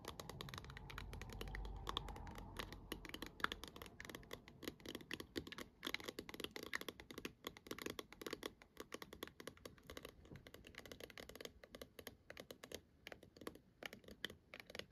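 Long nails tap rapidly on the top and sides of a hollow plastic star-patterned projector dome held in both hands. The quick, crisp clicks have a hollow plastic tone, with a soft low rumble under the first few seconds. The tapping runs in dense, uneven bursts throughout, each tick dying almost instantly.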